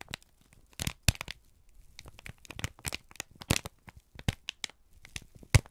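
A single thin, crumpled sheet of brown kraft paper is held in both hands and squeezed and crinkled with the fingertips and thumbs. It makes a run of sharp, dry crackles and crinkling bursts that spread bright across the range, with short quiet gaps between them.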